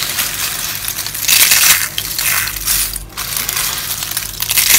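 Hollow rolled dry soap curls, mostly pink and yellow, are scooped up and crushed and rubbed between hands and fingers with long nails over a bowl of soap pieces. A dense, bright, dry crunching and crackling runs throughout, with louder bursts of crumbling near the middle and end and a short lull around the three-second mark.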